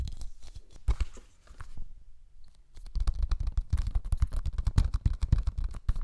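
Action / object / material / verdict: scrape / cellulose sponge / cellulose / none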